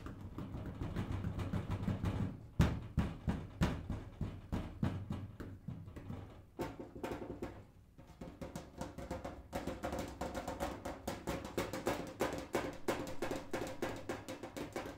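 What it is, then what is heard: Metal filing cabinet tapped. A metal filing cabinet is tapped in a quick, uneven patter of many light, dull knocks that die away almost at once. The knocks carry a low, boomy body with little brightness. The tapping pauses briefly around the middle before resuming.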